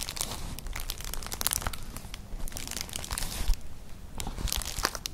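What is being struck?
Woven straw clutch bag.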